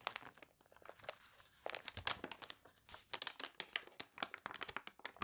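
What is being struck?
Paper catalog pages.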